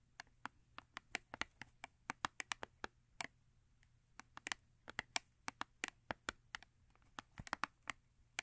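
Long nails tap and scratch the side panel of a small paperboard Yardley soap box held on its side. About 33 quick, dry, bright clicks and ticks come in uneven bursts, each dying away almost instantly over a faint low hum.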